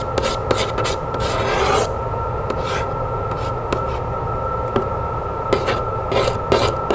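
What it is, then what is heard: Cardboard box scratched with fingernails. Long fingernails scratch and rub across the flat side of a medium printed cardboard keepsake box, making dry, raspy scrapes with brief sharp ticks over a steady low hum. A longer, brighter rubbing stroke runs through the first two seconds, followed by shorter scratches.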